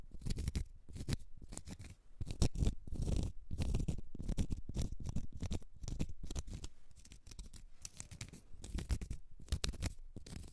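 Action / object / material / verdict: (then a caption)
scrape / small round cork stopper / cork / none. Long red nails scratch a small solid round cork stopper in a dense run of quick, dry scraping strokes. The sound is soft and muffled, with most of its weight in a low rumble and only faint bright edges on each stroke.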